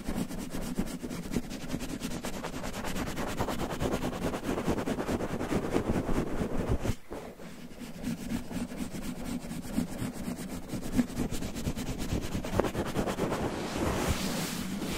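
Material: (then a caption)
Cotton terry. Fingertips grip, scratch and rub a red cotton terry towel wrapped over a microphone, making a dense, muffled scratching and rustling with a heavy low rumble. The texture pauses briefly near the middle, then resumes and turns brighter and airier toward the end.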